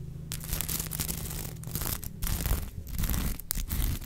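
Long nails scratch and brush across the sequin surface of a sequin fabric unicorn plush held upright. Dense, bright, crackly rasping comes in irregular bursts with brief gaps, over a steady low rumble.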